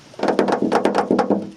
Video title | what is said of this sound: Interior Cleanup!! | the roof sounds horrible rain sounds like metal hitting metal